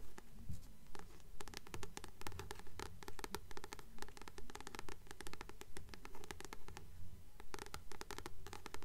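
Long nails scratch and tap the matte paper cover of a blue Practical Magic paperback held upright in both hands. Quiet, steady, rhythmic bursts of crisp taps and scratchy strokes repeat throughout, with a low, dull body under them. The book sounds solid.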